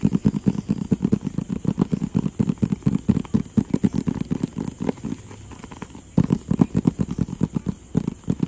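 Fingertips tap rapidly on a hollow, rectangular, printed white and blue cardboard box, producing dull, low, hollow thuds with very short decay. The steady patter softens for about a second near the 5-second mark, then resumes at full strength.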